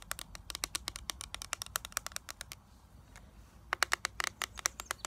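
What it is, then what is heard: Plastic eyeshadow palette tapped with nails. Long nails tap and scratch the clear plastic lid of a small, flat eyeshadow palette with a gold plastic frame, held in the hands. A quick run of bright, dry plastic clicks with almost no ring comes over a soft scratchy hiss, briefly pausing near the middle before the tapping resumes.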